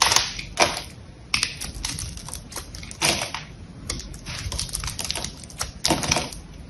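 A small knife carves and scrapes the surface of a solid green bar of soap held in the hand, flaking pieces off. Dense, crisp scraping and clicking sounds come in quick bursts, bright and dry with short decays. Several louder, sharper strokes stand out above the steady crackle.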